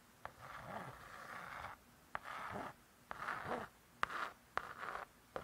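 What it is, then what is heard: Laminated cardboard book cover scratched with a nail. A single long acrylic nail scratches and traces across the lettering on the laminated cardboard cover of a closed spiral-bound hardcover cookbook. Six sharp clicks each open a soft, scratchy stroke centered in the midrange, with some strokes lasting over a second and others only a fraction of one. The strokes are separated by brief near-silent gaps.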